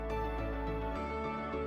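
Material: Nothing is struck.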